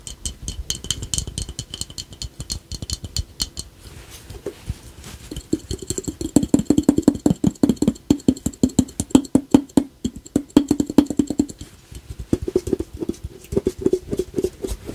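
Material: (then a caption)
Ceramic. A small, hollow, glossy painted ceramic ladybug piggy bank with a red shell, black spots, a yellow face and a coin slot on top is held in both hands and tapped with the fingertips and short nails all over its red glazed shell. Quick, dry clicking taps follow in dense runs, with bright high ticks at first and then a hollow resonant ring near 260 Hz for most of the clip.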